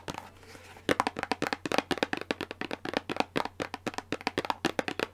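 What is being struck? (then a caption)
Thin cardboard box. Long pink nails tap and scratch the faces of a small printed Revlon Colorsilk hair dye box made of thin cardboard, held in the hand and likely full. A soft scratchy rustle opens the clip, then about 28 quick, dry, hollow papery taps follow in a brisk, uneven rhythm, each dying away almost instantly.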